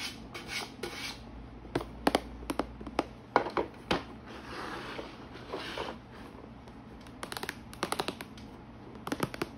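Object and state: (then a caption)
Plastic organizer box tapped and scratched. Long painted nails and fingertips tap and scratch the lid of a clear plastic organizer box with many compartments holding rolls of washi tape. Quiet, scratchy rubbing alternates with clusters of sharp, bright clicks that stop almost instantly.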